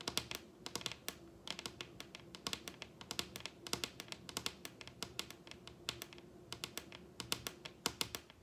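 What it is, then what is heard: Wooden tabletop tapped with fingernails. Long red acrylic nails tap rapidly on the surface of a large, solid wooden dining tabletop. Dozens of sharp, bright clicks come in quick, uneven bursts, each dying away almost instantly. A faint steady tone sits beneath them.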